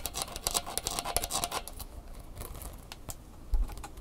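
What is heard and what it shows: Long fingernails scratch along the bumpy, bendable legs of a red plastic flexible tripod, making rapid, bright rasping clicks that are densest over the first second and a half. The scratching then thins into sparser strokes, with a dull low thump near the end.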